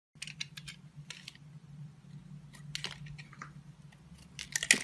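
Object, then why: Bar of soap shaved with a blade. A utility knife blade with a red handle shaves and carves an oval solid bar of purple, pink and white confetti-style soap held in the palm, scraping off curls. Bright, crisp scraping strokes come in short bursts over a steady low hum, with the sharpest cuts near the end.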